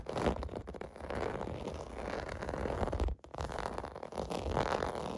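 Fingertips scratch and tap across a large, flat, clear blue plastic bubble bath mat with small hollow bubble domes, resting on carpet. The result is a continuous dense, low, crackly rustle with muffled thuds, dropping out briefly near the three-second mark before resuming.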